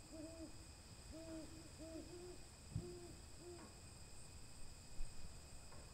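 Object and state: Nothing is struck.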